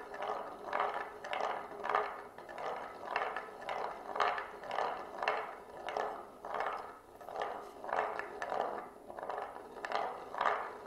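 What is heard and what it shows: A single glass marble rolls around the grooved rim of a shallow oval wooden serving plate, held in both hands and tilted. It makes a continuous rolling scrape that swells and fades in a steady rhythm, about twice per second, as the marble circles the groove. The sound is quiet and mid-pitched, with no low rumble and only a faint bright edge.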